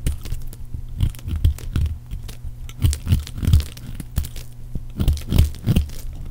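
A metal blade scrapes and cuts shavings from the edge of a solid oval bar of pale green dry soap with an embossed logo, held in the hand. Short, dry, crunchy scrapes and crackles come in quick bursts over a steady low hum, with most of the energy low and thuddy and faint bright ticks on top.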